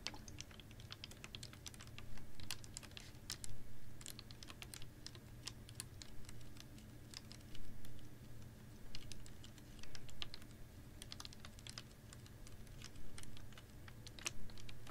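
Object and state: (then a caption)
Plastic water bottle. A clear, ribbed PET water bottle holding a little water is held upright in one hand and tapped and scratched with long nails. Quick, irregular bright clicks and scratchy ticks patter over a steady low hum, with a few louder taps standing out now and then.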